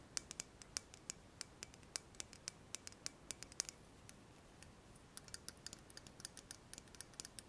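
Long fingernails tap a slim, shiny metal pen-like tube, held horizontally and then vertically, in a quick series of about three dozen crisp, bright clicks. Each tap dies away almost instantly, and the tapping slows briefly around the middle before picking up again.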